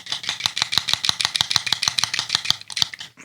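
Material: Plastic.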